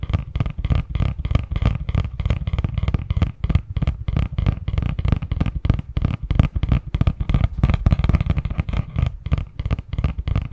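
Fingertips and nails tap and scratch the surface of a medium-sized, hollow, printed cardboard Christmas box lid held in both hands. The result is a rapid, steady stream of dull, low, hollow thumps and soft scratches that stop almost instantly, with no ring.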